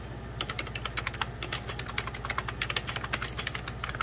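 Fingertips of both hands type on a hollow, beige 1990s Packard Bell plastic computer keyboard. Rapid, uneven key taps click out with short, bright plastic clacks. A steady low hum runs underneath.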